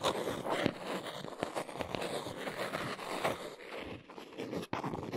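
A small brown cardboard box is held in the hands while long nails scratch and tap its sides. The result is a steady, dry scratching texture broken by soft, short taps that stop with almost no ring, with a brief drop near the end before the scratching resumes.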